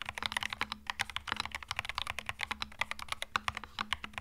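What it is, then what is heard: Mechanical keyboard with plastic keycaps. Both hands type with their fingertips on a compact cream mechanical keyboard with plastic keycaps. The result is a fast, uneven stream of short, bright, clacky keystrokes that stop almost instantly. A faint steady low hum sits underneath.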